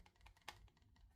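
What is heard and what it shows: A fixed-blade knife in a kydex sheath is shaken to test its retention, producing a quick series of light, dry clicks and rattles with one sharper click partway through. The knife stays secure in the sheath; retention is judged good, though the tension could be a little tighter.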